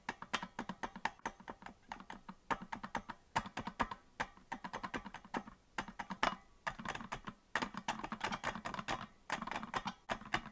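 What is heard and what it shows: Fingers of both hands tap the plastic keys of a hollow green plastic melodica without blowing into it. The result is a dense, irregular stream of short, dry clicks in quick bursts, each dying away almost at once, with a midrange knock around 670 Hz and a faint low thump beneath.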